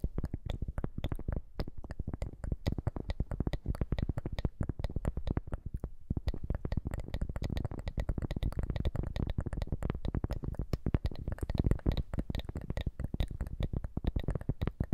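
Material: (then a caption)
Cork. A round, thin, solid cork coaster held in both hands is tapped and scratched with long manicured nails. A dense stream of short, dull, low-pitched taps and soft scratches runs throughout, with some layered, overlapping sounds possible.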